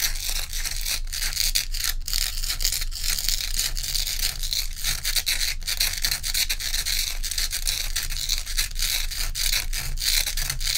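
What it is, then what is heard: Ice block being scratched. Long pointed nails on both hands scratch rapidly across the frosty top of a large, solid, dome-shaped ice block resting on a dark towel. The result is a dense, continuous, bright scraping hiss with a steady low rumble underneath, held at an even level throughout.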